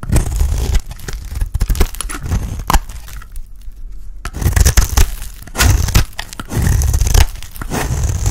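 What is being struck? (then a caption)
Bar of soap shaved with a blade. A dry, oval, solid orange soap bar held in hand is shaved into curls with a utility blade. Bursts of scraping and crisp tearing, crinkly shaving sounds carry a heavy low rumble and faint bright edges, with a quieter lull in the middle.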